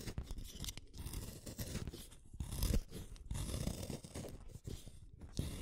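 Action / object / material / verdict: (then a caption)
scrape / wooden colored pencil shaved with a small metal blade / wood / none. A solid purple wooden colored pencil is shaved with a small metal blade in a yellow holder. Quiet, rough scraping and crunching strokes come in dense bursts with brief pauses, mostly low and dull with faint bright rasp and no ringing.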